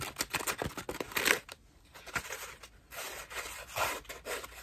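A cream foam bath loofah is squeezed and scratched rapidly with long nails, giving quick bursts of bright, crisp scratching and crackling. The scratching pauses to a quiet hush in the middle, then resumes in dense, rasping strokes.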